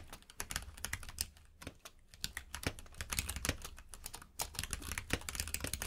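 Fingertips of both hands type quickly on a compact mechanical keyboard with plastic keycaps, producing a dense stream of sharp, bright clicks and clacks. Brief pauses break up the typing, and a low, steady hum sits underneath.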